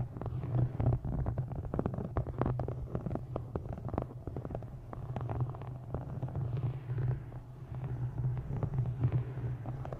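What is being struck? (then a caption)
Hardcover book with embossed faux-leather cover. Long nails tap and scratch the textured, embossed faux-leather cover of a solid dark green hardcover book held upright. A dense, irregular run of quick dull taps mixes with soft scraping over a steady low hum, with the sound sitting mostly in the low range and each tap dying away fast.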